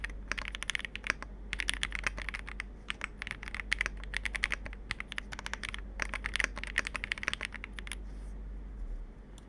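Fingertips type quickly on the plastic keycaps of a compact 65% Capsule 65 mechanical keyboard, producing a dense run of sharp, dry clacks centered around 1.6 kHz, with bright edges and a steady low hum underneath. The typing pauses briefly and resumes in bursts, then ends with one hand pressing the spacebar before a quieter tail.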